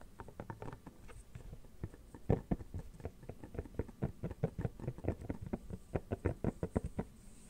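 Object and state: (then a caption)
Silicone phone case. Fingernails scratch and tap the back and inner surface of an empty red silicone phone case that is being held up. The result is a quick, uneven run of many soft, dull, muffled taps with faint scratching between them. Each tap dies away almost at once and stays low and thuddy, with no bright edge.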